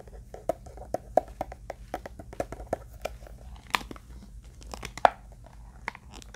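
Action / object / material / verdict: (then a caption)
tap / hard-shell eyeglass case / unknown / none. Fingertips and nails tap and scratch along the surface and seam of a closed, black, hollow, hand-sized hard-shell eyeglass case. About twenty quick, dry clicks land with no ring, each with a hollow knock near the midrange and a bright scratchy edge. Softer scraping fills the gaps over a faint steady low hum.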